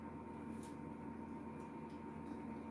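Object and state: Nothing is struck.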